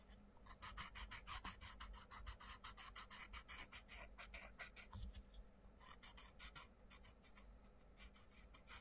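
A wooden coloured pencil scratches quick back-and-forth strokes into the butterfly outlines of an open paper colouring book page, which is held down by the fingertips of the other hand. The rapid, bright, raspy strokes come at about three per second, briefly grow softer near the middle, then resume and fade to lighter scratching toward the end.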